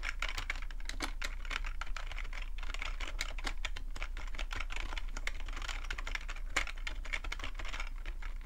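Fingertips type steadily on a full-size black plastic computer keyboard with a hollow plastic body. The result is a rapid, continuous stream of short, dry key clicks and taps that are brightest around 2 kHz, over a steady low hum.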